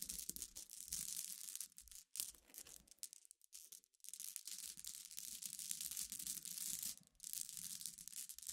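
Long nails tap and scratch a pile of scattered glass pebbles, or gems, resting on black fabric. Dense, bright clicking and scraping runs in bursts, with brief pauses near the two-second mark, around three to four seconds, and near seven seconds.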